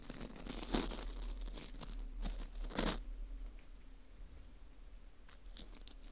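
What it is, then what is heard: Dried wheat gluten ring being scraped. A teal plastic scraper scrapes across the face and into the hole of a porous dried wheat gluten ring (fu), breaking crumbs off. It makes dry, crackly, tearing scratches with brighter crunchy bursts near the start and again around the third second. After that it settles into quieter, sparse crackles.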